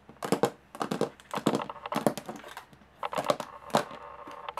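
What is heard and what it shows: Long nails tap rapidly on the textured lid of a closed, hollow aluminum carry case, producing bursts of quick, dry clicks with a hollow metallic tone. The taps come in clusters separated by brief pauses, each hit dying away almost instantly.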